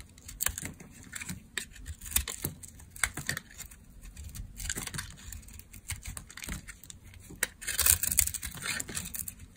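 A solid, dark brown bar of dry soap is scraped and carved with a utility knife, peeling off curled shavings. Dry, bright scraping strokes and crisp little cracks come in quick irregular bursts over a low steady hum. The last stroke is the loudest and longest.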